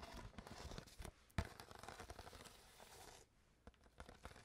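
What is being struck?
Thin plastic water bottle.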